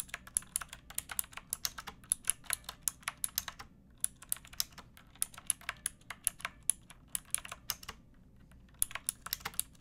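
Fingertips with long painted nails type on a pink plastic typewriter-style mechanical keyboard with round plastic keycaps. Quick, bright, sharp clicks come in steady runs, with short pauses around the 4-second mark and near 8.5 seconds. Each click dies away almost instantly over a faint low background hum.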